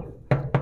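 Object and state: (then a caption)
Thick solid steel truck bed. Two knocks on the thick steel cargo bed plate of a 2019 Mitsubishi Canter PS 125 HD truck give dull, low thuds centered around 137 Hz with short ring. The bed is solid, with no corroded or rusted spots.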